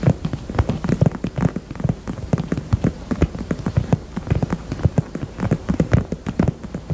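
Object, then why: Small faux leather heart-shaped purse. Long nails tap rapidly on the bottom and back of a small, hollow pink faux leather heart purse. The taps are quick, dull and low-pitched, and each stops almost at once with no ring. They form a soft, steady patter like rain on a surface.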